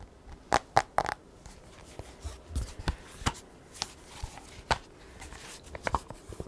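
Long nails tap and scratch the black glass touchscreen of an iPad held tilted, producing a series of sharp, clicky taps with a ringing tone around 800 Hz. Softer scratchy swipes fill the gaps between the taps, and each tap dies away almost instantly.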